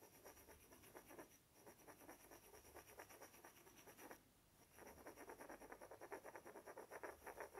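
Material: Wood.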